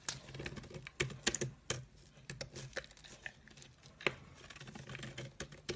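A metal blade scrapes a solid cream soap bar, shaving off thin curls. The sound is a run of crisp, dry, bright scratches and clicks over a faint low hum, with a few sharper strokes standing out.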